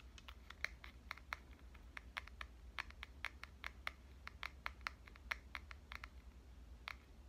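Dark-painted fingernails tap the body of a red compact digital camera with a metal and plastic body, held in the hand. A quick, irregular run of short, crisp clicks centered around 2 kHz with bright edges, each dying away almost instantly, plays over a faint, steady low hum.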